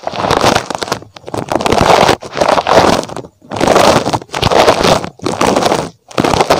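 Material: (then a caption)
Rubber. Fingertips scratch the spikes of a small red spiky rubber puffer toy shaped like a rabbit, held close to the microphone. The result is dense, crackly scratching centred in the midrange with some bright hiss, coming in a series of separate bursts with brief silent gaps between them.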